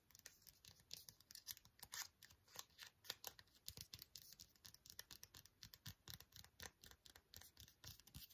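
Fingernails tap and scratch a small, flat, sealed green ASDA antiseptic wipe foil sachet that is still full. The result is a quick, steady run of dry, crisp clicks and crinkly scrapes that are bright and high with very little low end. Each tap dies away almost instantly, at a quiet level.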